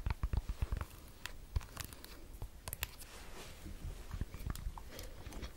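Long nails tap and scratch a small, hollow round AirPods case in a green and red watermelon silicone cover with a keyring. A quick series of dull, low, muffled taps dies away almost instantly. Soft, quiet scratching rustles in between.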